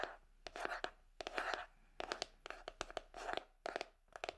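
Long acrylic nails scratch and flick the dense plastic bristles of a hand-sized red plastic paddle hairbrush with a gold-coloured handle and a cushioned bristle pad, held close to the microphone. The result is a quiet run of dry, crackly scratching swells broken by many sharp, quick ticks, mostly midrange with a bright edge and almost no low end. Each flick dies away fast.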